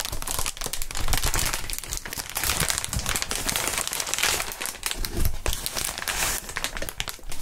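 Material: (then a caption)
Plastic. Gloved fingers squeeze and crinkle clear, hollow inflated plastic air column cushion wrap, producing a continuous dense crinkling with rapid snapping sounds. The texture is broadband, with bright, crisp highs over a low rumble, and steady loudness throughout.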